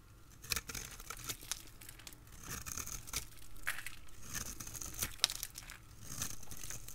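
A dry, crisp, solid rectangular green bar soap held in the hand is cut and scraped with a utility blade, shaving off strips and cubes. The result is a run of short, bright crackling snaps and scraping crunches over a low, quiet background.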